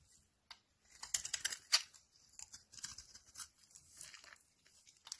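A utility knife blade scrapes flakes off the face of a solid, rancid cream vegetable soap bar with embossed text. The result is a series of quiet, dry, crisp scraping and crackling strokes that are bright and high-pitched with almost no low end. The loudest strokes come early, and softer, uneven scrapes follow.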